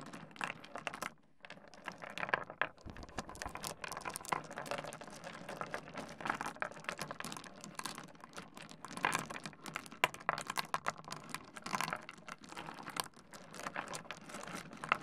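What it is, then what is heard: Small stone pebbles clacking. Hands grab, rub and clack a pile of small solid stone pebbles on a wooden desk. The result is a dense, continuous stream of short, dry clicks and rattling clacks over a gritty rubbing texture, with a brief pause near the one-second mark.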